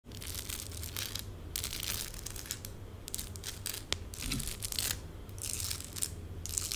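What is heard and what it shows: Long pink acrylic nails scratch fast across small, colorful plastic stick-on gems densely covering the back of a hand and fingers. The result is a continuous stream of bright, crackly scratching in bursts over a steady low hum.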